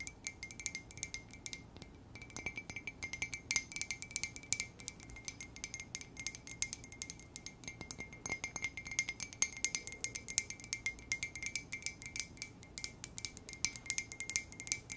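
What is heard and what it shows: A hollow white ceramic coffee mug marked with a 'K' is held up and tapped rapidly with long nails. The result is a steady stream of quick, light, bright clicks, each with a brief glassy ring.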